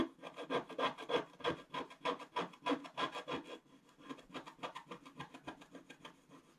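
A wooden stylus makes dense, rapid scratches across the black wax coating of a flat scratch art paper page. It produces a dry, raspy scraping rhythm of about three strokes per second, with a faint squeaky tone in each stroke. The strokes are louder in the first half and grow softer and lighter after about 3.5 seconds.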